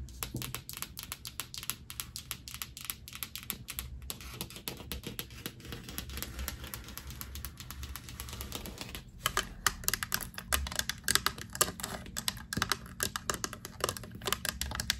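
Long acrylic nails and fingertips tap rapidly on a flat, solid painted drywall interior wall beside a light switch and a photo board, making a dense stream of quick, bright clicks. After about nine seconds the sound shifts to louder knocks from the knuckles, with more low thud and short, dry ring.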